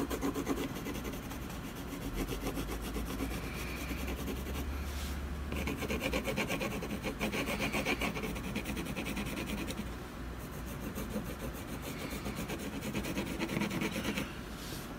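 A wooden colored pencil is rubbed back and forth in short shading strokes across a solid canvas panel, heard up close. The result is a steady, dry, scratchy rasping with bright grainy texture, and a low hum sits underneath for the first several seconds.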